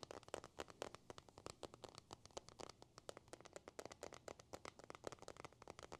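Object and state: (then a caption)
Glass and metal smartphone. An iPhone with a glass screen and metal body is held in the hands and tapped and scratched with a thin white stylus and the fingers. A rapid, steady stream of about forty sharp, dry clicks and taps mixes with soft scratchy scraping, each tap dying away instantly with a midrange body and bright edges.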